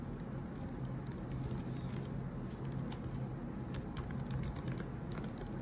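Long acrylic nails and fingertips tap rapidly on the low-profile black plastic keycaps of a silver laptop keyboard set in a solid laptop body. The result is a steady, dense stream of short, bright clacks and clicks over a low, constant hum.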